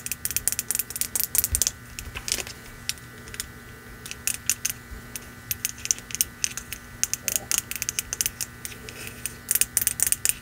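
A hollow, apparently empty red glazed ceramic mug lettered "Merry Christmas" is held in the hands and tapped with long nails on its outer wall and rim. The result is a rapid, irregular run of sharp, bright clicks that die out almost instantly, over a faint steady hum.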